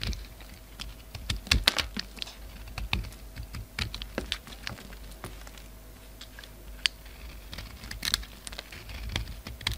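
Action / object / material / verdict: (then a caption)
scrape / solid bar of soap / soap / none. A utility knife blade shaves crumbly chunks off a solid black bar of soap, white showing underneath, held in the hand. Short, dry crackling scrapes and crisp ticks come in an uneven stream, bright and quick with almost no ring, over a faint low hum.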